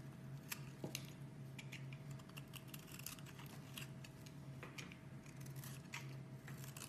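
A metal blade shaves thin curls off a solid cream-colored bar of soap held in the hand, the curls piling up below. A steady run of soft, quiet scraping and cutting strokes, each a brief bright rasp, sits over a low, constant hum.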